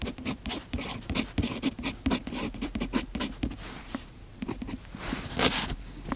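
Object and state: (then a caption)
Fountain pen writing on a paper notebook page. A fountain pen's metal nib scratches across the page of an open paper notebook while writing, making a quick run of short, dry, papery strokes. Near the end comes a longer, brighter, hissier scrape.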